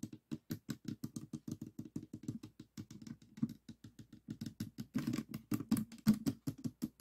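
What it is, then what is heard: Plastic puzzle cube. Fingertips tap rapidly on the top face of a small stickerless plastic 3x3 Rubik's cube with a hollow mechanism, resting on a table. About forty quick, quiet, hollow plastic knocks come in an uneven patter, each with a low tone near 215 Hz and a very short ring. The taps grow slightly louder and denser toward the end.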